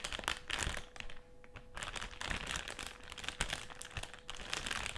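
Fingertips and short nails scratch and press across a black and silver foil-lined metallised plastic crisp packet with crisps still inside, lying flat on a white table. Bright crinkling and crackling come in dense bursts with brief quieter gaps, over a faint steady mid tone.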